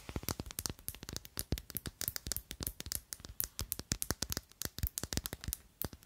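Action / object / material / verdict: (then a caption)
tap / thick faceted glass perfume bottle / glass / none. A small to medium, mostly empty, clear thick faceted glass perfume bottle with a square black cap is held in both hands and tapped and scratched with long glittery acrylic nails. Dozens of rapid, crisp clicks each die away almost instantly, with bright nail ticks over a soft low thump, mixed with brief scratchy rasps.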